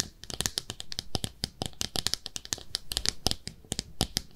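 A small pink speckled ceramic soap dish shaped like a clawfoot bathtub, hollow and empty, is held in both hands and scratched and tapped with long manicured nails. The result is a rapid, uneven run of sharp, bright clicks and taps with soft scratching between them, each tap dying away almost at once.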